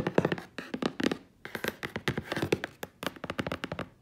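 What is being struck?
Corrugated cardboard box.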